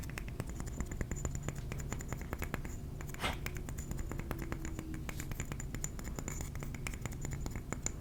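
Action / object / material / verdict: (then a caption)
tap / ceramic trinket plate / ceramic / none. A ceramic trinket plate is tapped with the fingernails in a rapid, continuous stream of short, sharp clicks. The clicks are brief and bright with almost no ring, over a steady low rumble.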